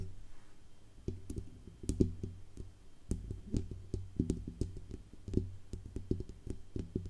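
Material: Metal.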